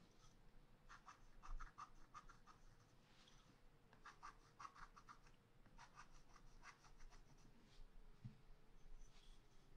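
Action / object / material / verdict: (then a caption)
scrape / wax-coated scratch art paper scratched with a wooden stylus / coated paper / none. A pointed wooden stylus is drawn in short strokes across a black, wax-coated page of scratch art paper in a spiral-bound pad lying flat on a table. Quiet, dry scratching comes in clustered bursts with gaps between them, over a steady low hum.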